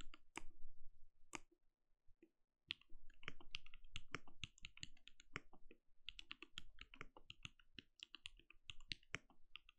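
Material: Plastic.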